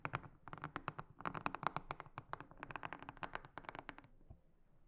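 A small silicone-headed brush is worked across a large, flat, solid, round blue silicone honeycomb trivet mat. It makes a rapid run of short, dry, crisp strokes and ticks, with a bright edge and a midrange body around 1 kHz. After about four seconds the strokes stop and the sound fades to a faint, quiet tail.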